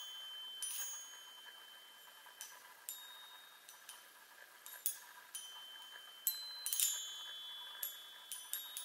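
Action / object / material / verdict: tap / small metal tube chime on a wooden frame / metal / none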